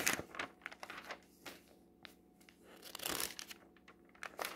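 Fingertips turn the pages of a glossy paper clothing catalog lying open on a table. The result is a series of crisp, bright crinkling and rustling bursts, with a louder, fuller sweep near the end.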